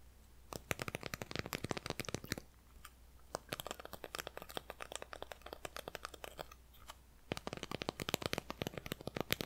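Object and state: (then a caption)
Gingerbread cookie. A small, flat, solid gingerbread cookie held up in both hands is tapped and scratched with long nails and fingertips. Quick runs of dry, bright clicks and scratches come in dense bursts, with short quieter gaps between them, over a faint steady low hum.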